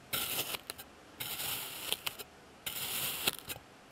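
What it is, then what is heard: Kinetic sand being cut. A clear plastic blade slices and scrapes through a flat, solid slab of blue kinetic sand, pressed with a patterned texture, on a white surface. Three long, bright, gritty scraping strokes are heard, each trailing off in a few short crunchy ticks, with quiet pauses between them.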